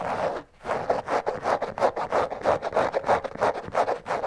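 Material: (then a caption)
Canvas. Long fingernails scratch the canvas upper of an empty checkered canvas slip-on shoe lying on its side. After a brief pause near the start, there are quick, uneven back-and-forth strokes, about three per second. Each is a dry, raspy scrape centered in the midrange, with a bright hiss on top.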